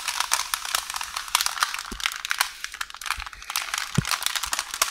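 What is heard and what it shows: Long orange nails tap and scratch a roll of beige baking paper on a counter. Crisp, bright clicks and crinkles come in a steady, dense patter, with a few soft low thumps mixed in. Each click is short and dry with almost no ring.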